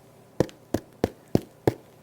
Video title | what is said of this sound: Ultimate Bread Baking Marathon - Sandwich Bread, Batter Bread, Boules, and Sourdough Too! | Hear that nice hollow sound means it's well baked and it's finished.